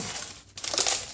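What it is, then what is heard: Car door panel with loose broken glass inside. A car door panel is shaken once after its window broke, producing a bright, crinkling rattle of loose shattered glass debris inside the door. The rattle comes in a soft first stir, then a louder burst of high, clinking jingles. The noise shows glass fragments are loose inside the door and need to be removed so it won't rattle.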